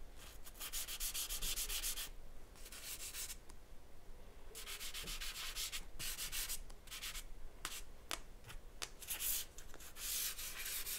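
A charcoal stick scratches and rubs across a white paper sheet resting on a board while sketching a face. Quick bursts of bright, dry scratching strokes come in uneven runs, separated by short quiet pauses and a few sharp tick-like marks.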